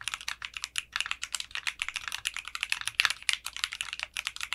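Fingertips type on a mechanical keyboard with clear pink polycarbonate keycaps and a translucent case. The result is a rapid, steady stream of crisp, bright clacks with almost no low end, and each keystroke stops short with no ring.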